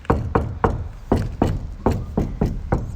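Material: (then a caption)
Steel. Taps on the steel side panel of a VW Crafter van lined with 8 mm sticky-backed reflective insulation give a quick series of short, low, dull knocks that die away almost at once. A slight rattle sounds from inside the panel, but otherwise each tap lands fairly dead, showing that the insulation deadens the panel.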